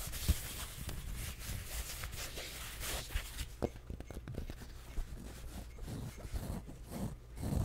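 A pink fabric baseball cap with printed lettering, a hollow fabric crown and a stiff brim, is held up in one hand close to the mic while fingertips and nails scratch and tap its fabric surface. The result is a soft, continuous rustling scratch with a low, muffled thump underneath, broken by a few brief, dry taps that die away almost instantly.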